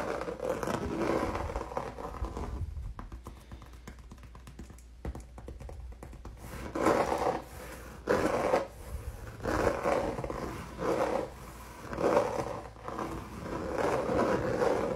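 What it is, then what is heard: Textured acrylic paint canvas. Fingernails scratch the surface of a solid, flat, red textured acrylic paint canvas, with the hand resting flat on it at times. Dry, raspy scraping strokes with a mid-range tone come in uneven bursts, softening to a quieter, fainter rustle in the middle before louder separate scratches return toward the end.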